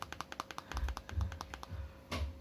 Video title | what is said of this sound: Perbandingan Sony XZ3 vs Sharp Aquos Zero 2 | ini kelihatan solid kalau ditekan gini, karena ini kaca